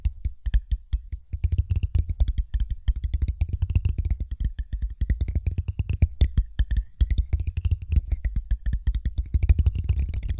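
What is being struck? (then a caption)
Glass test tube. A thin, empty, hollow clear glass test tube stands upright on a microphone while long pointed nails tap along its side. The result is a rapid, continuous run of short, dry taps with a deep thump, over a faint, wavering high glassy tone.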